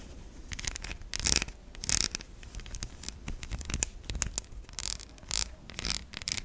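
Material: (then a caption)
Soap. Long nails scrape grooves into the surface of a solid white bar of soap held in the hand, and shavings fall away. The sound is a dry, bright scratching and rasping made of short strokes. A few louder, high-pitched scrapes stand out above the quieter texture.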